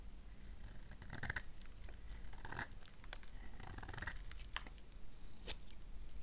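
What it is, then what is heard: Bar of soap being shaved. A solid black bar of soap is shaved with a gold knife, making soft, dry scraping and crisp flaking sounds as thin flakes fall off. Short bright scratches come in uneven bursts over a low, steady rumble. The bar is briefly turned in the hands between strokes.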